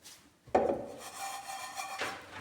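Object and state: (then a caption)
Crisp roasted breadcrumbs. Roasted breadcrumbs are stirred and scraped in a pan, producing a dry, gritty scraping rustle with a sharp onset, a mid-range body and a bright hiss. The crumbs sound crisp, showing they have become crisp.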